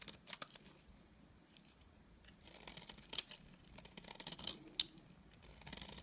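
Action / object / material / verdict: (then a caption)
scrape / bar of soap scraped with a blade / soap / none. A utility knife blade scrapes along the edge of a solid, dry beige bar of soap, making quiet, crisp, bright scratching and crumbling sounds. Sharp ticks and short rasps stand out between softer stretches of scraping, with no ringing after each stroke.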